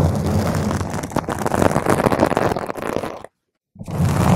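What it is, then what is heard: Foam microphone windscreen being scratched. Long nails of both hands scratch a round purple foam microphone cover, making a dense, crackling, rumbling scrape with heavy low-end boom. The scratching cuts to complete silence for about half a second, then resumes just as loud.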